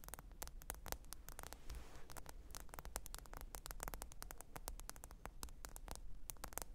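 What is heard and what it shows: Long pointed nails tap and scratch the glass screen of a small, thin, black smartphone lying flat and screen-up on faux fur. Rapid, crisp, bright clicks sound in a dense, uneven stream, with softer scratching between them. A steady low hum runs underneath throughout.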